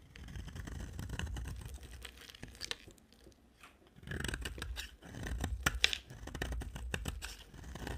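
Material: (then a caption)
Soap. A utility-knife blade shaves a solid yellow rectangular bar of dry soap, letting crumbly yellow flakes fall away. Dry, crackling scrapes come in bursts with sharp, bright snaps and a low rumble underneath, broken by a brief quiet pause midway.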